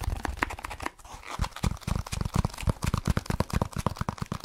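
A solid, dark speckled foam block held over the mic is rapidly scratched and tapped with fingertips. It makes a fast run of short, dry, thumpy taps mixed with crinkly scratching, weighted toward low frequencies, with a brief lull near the one-second mark before the tapping picks back up.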